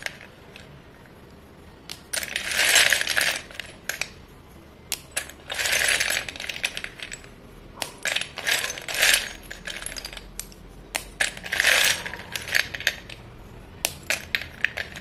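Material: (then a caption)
Chalk. Hands with painted nails snap and crumble solid white chalk sticks, about 1 cm thick and several cm long, one at a time over a pile of them in a dark clay bowl. Bright, dry cracks and gritty crumbling crackles come in repeated bursts, separated by short quiet gaps, as each stick breaks into pieces.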